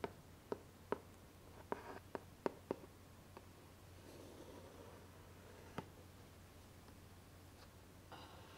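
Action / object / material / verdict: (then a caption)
tap / cardboard gift box / cardboard / none. A large, closed, hollow pink cardboard gift box with a ribbon bow is tapped on its lid and sides with the tip of a twisted metallic stick. Nine short, dry taps ring out with almost no decay, and some are spaced closely in quick succession. Between them there are soft faint rustles over a steady low hum.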